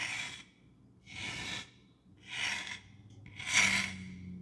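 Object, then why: Small wooden block. Long dark-painted nails rub and scratch a hand-sized, apparently solid rectangular wooden block with a painted or carved jack-o'-lantern face, held in one hand. Four separate bright, breathy rasping strokes are heard, with quiet pauses between them, and the last stroke is the loudest.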